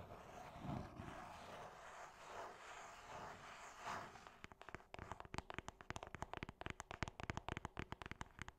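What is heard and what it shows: Long painted nails scratch across a small, hollow cream cardboard gift box with a printed logo, making a soft, breathy rasp for the first four seconds. They then switch to quick tapping, about thirty short, dry, hollow clicks in an uneven rhythm until the end.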